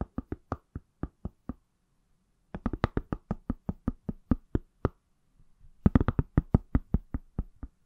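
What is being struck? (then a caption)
Smartphone in a silicone case. The back of a palm-sized, solid iPhone in a pale green silicone/plastic case is tapped with fingertips and nails. About 31 short, dry knocks come in three quick bursts separated by brief pauses. Each tap is low and thuddy with almost no ring.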